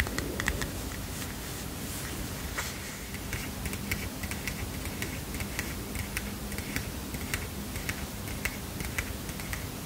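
Fingernails tap and scratch the edge of the paper stack on a small heart-shaped paper mini notepad. Light, crisp clicks and soft scratchy rustles repeat unevenly over a steady low background hum.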